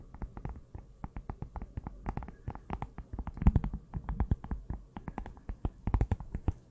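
Long nails tap rapidly on the cardboard cover and spine of a closed small pink notebook held in both hands, about forty quick hits. The taps are soft, dull and muffled, with most of their weight in a low thump and no ring after each one.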